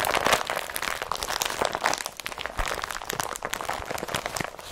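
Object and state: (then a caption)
Woven plastic carrier bag crumpled. An empty blue and yellow IKEA BRATTBY carrier bag of thin, flexible woven polypropylene plastic is squeezed and crumpled in both hands with the fingertips. It gives a continuous run of dense, bright crinkling and crunching with quick crackles and little low end.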